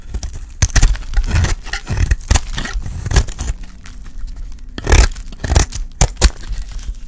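A utility blade scrapes and shaves a dry, solid, light-green rectangular bar of soap held in the hand. Bursts of dry, crumbly rasping come in quick strokes, each with a bright scratchy edge over a low, dull thump. The soap flakes off in short, close-up shavings.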